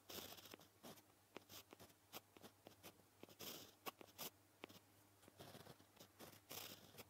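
A white gel pen tip scratches across a flat, solid black paper sheet while writing kanji and kana. Short, quiet, bright scratchy strokes come in quick irregular bursts with brief pauses, over a faint steady low hum.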